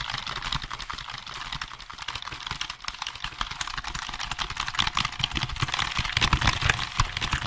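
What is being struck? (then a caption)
Plastic computer keyboard. Fingertips type fast on the keys of a hollow black plastic computer keyboard held behind and beside the microphone. The result is a dense, uneven stream of sharp, bright plastic clicks over a low thump, growing louder and busier in the second half.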